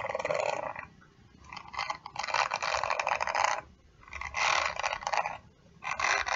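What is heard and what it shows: Long nails scratch and flick across the dense plastic/metal bristles of a round hairbrush held in one hand. This produces bursts of bright, crackly raking that swell and fade with short quiet pauses between them.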